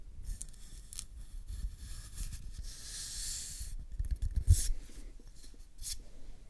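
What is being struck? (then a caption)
Cardboard tube. Fingertips rub and scratch the surface of an empty, hollow brown cardboard tube held in one hand close to the mic. A low, hollow rumble runs throughout, with short bright scratchy bursts and a longer hissing rub in the middle.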